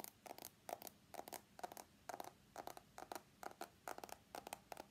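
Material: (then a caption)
Stainless steel. An iPhone X is held on its edge while fingernails tap and scratch along its stainless steel frame. The result is quiet, steady clusters of short, dry clicks and scrapes with a faint metallic ping near 700 Hz and bright, hissy edges, repeating at an uneven pace of about two per second.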